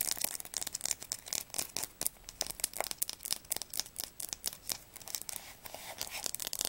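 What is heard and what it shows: Long nails rapidly tap and scratch along the spine of a blue atlas with a red publisher label. The result is a quick run of crisp, dry, bright clicks mixed with papery scratching, with almost no low end and no ring after each tap.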